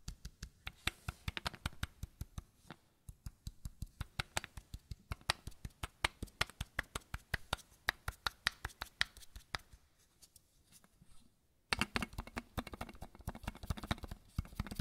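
Fingertips tap the square cap of a small matte white bottle that looks plastic, making a steady run of short, dry clicks with a bright edge and almost no ring. The tapping fades to near silence for a moment, then returns faster and denser over a constant broadband hiss.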